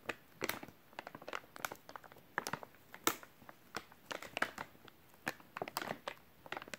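Fingertips rub and squeeze the film of a full, white soft plastic wet wipes package held in both hands. Irregular bursts of dry crinkling and crackling snap across a bright, wide range over a quiet background, each burst dying away almost instantly.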